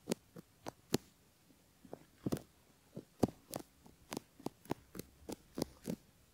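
A bamboo ear pick scratches along the folds of a silicone ear model and near its canal, which holds a metal mic capsule, while fingertips steady the mold. Close, soft scratchy strokes come in short separate bursts, each with a dull low thump and a quick bright rasp, over quiet pauses.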